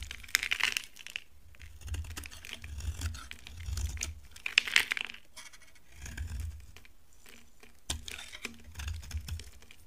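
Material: Soap.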